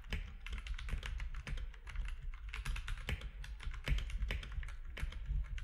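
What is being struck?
Mechanical keyboard with plastic keycaps.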